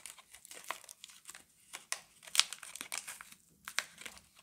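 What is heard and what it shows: A single hand-sized Camay Natural bar soap in a paper/foil-lined wrapper is turned and rubbed between fingers with long glittery nails. The wrapper gives off bright, crisp crinkling and rustling with sharp crackles, mostly in the high range with nothing low. The sound is quiet and dry, with no ring after each crackle.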